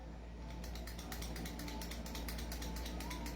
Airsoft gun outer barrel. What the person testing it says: unit na hindi naka-fix outer barrel, ito, ayan, kumakalog